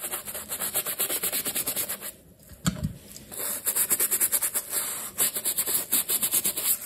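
A black leather sneaker stuffed with paper is held in hand while its upper is scrubbed with a wooden-handled bristle brush and soapy lather. Quick, rhythmic, bright bristly strokes rasp back and forth, pause briefly around a soft low thump, then resume at a steady pace.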